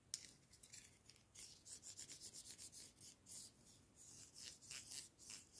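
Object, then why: Pair of thin wooden chopsticks. A pair of thin, solid wooden chopsticks is rubbed together lengthwise by the fingers, giving soft, bright scraping strokes. The strokes come in a quick, rhythmic series of short rasps, with a faint sharp tick at the start and very little low end.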